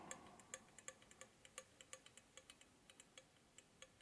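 A closed, solid-bodied red-painted metal Swingline desk stapler is held in one hand and tapped and scratched along its top with the fingertips and nails of the other hand. About twenty quick, irregular, bright metallic ticks are heard over a soft scratchy hiss, each with a faint tone near 523 Hz that dies away almost instantly.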